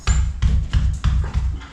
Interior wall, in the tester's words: which may mean there's some kind of Chimney around here somewhere because that sounds Hollow